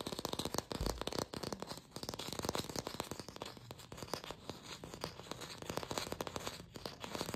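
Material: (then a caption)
Plastic. A glossy red artificial apple, likely hollow plastic, is held in the hands and fast-tapped and scratched with long pink fingernails. The result is a dense run of quick, dry clicks and taps with scratchy, bright texture over a hollow midrange knock, each hit dying away almost instantly.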